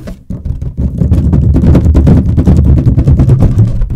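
Long nails tap and scratch a large, hollow, inflated green latex balloon, with a red balloon nearby left untouched. The sound is a dense, irregular stream of soft, booming low thumps and rubbery scraping, close and full with a short ring.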